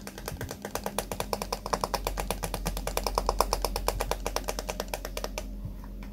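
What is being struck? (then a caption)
Plastic hairbrush with pin bristles. Fingertips strum and scratch the white pin bristles of a small pink plastic hairbrush held in the hand as the brush is turned. This makes a fast, slightly uneven run of short, dry ticking clicks over a steady low hum. The clicks stop shortly before the end, leaving only the hum.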